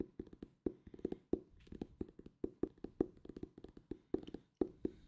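A solid purple hardcover book with a paper-covered board cover is held in both hands and tapped with fingertips and nails. The taps come as a quick, uneven run of short, dull knocks with a hollow mid-low tone, some carrying faint bright clicks from the nails. Each tap dies away almost at once.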